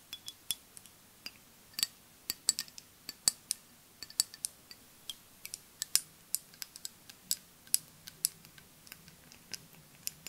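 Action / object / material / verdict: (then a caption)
tap / glass perfume bottle with liquid / glass / none. A flat rectangular green-tinted glass perfume bottle with liquid inside is held in both hands and tapped and scratched with long nails. About 34 quiet, sharp, bright clicks with almost no ring come at an uneven pace over ten seconds.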